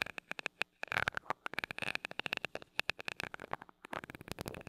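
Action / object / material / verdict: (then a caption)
tap / metal mesh microphone grille tapped with a glass rod / metal mesh / none. A glass rod taps and rubs the small gold metal mesh grille of a mini microphone. Dozens of quick, close-up clicking taps ring bright around 2.6 kHz and die away almost instantly. Brief scratchy rubbing passages run between them.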